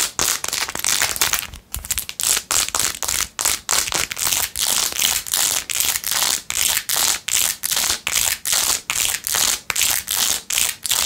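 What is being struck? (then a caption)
Rhinestone-covered plastic phone case. Long nails scratch quickly across a blue-jeweled, rhinestone-covered plastic phone case with a ring holder, held close. The result is a rapid run of bright, crisp, crinkly scratching bursts, almost entirely high-pitched with little low end. The strokes come in a fast but uneven rhythm, separated by brief gaps.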